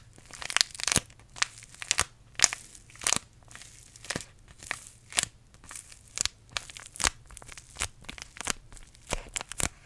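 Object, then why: Paper tea bag sachet. A small green paper tea bag sachet is crushed and crinkled between the fingertips of both hands close to the microphone. It gives a quick, irregular run of dry, bright crackling bursts with very short decay, over a faint low hum between them.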